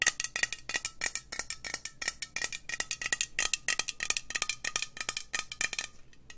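Long nails tap rapidly on a hollow green metal aerosol spray can, producing a fast stream of bright, sharp clicks with a faint metallic ring. The tapping runs steadily throughout and thins out and quiets near the end.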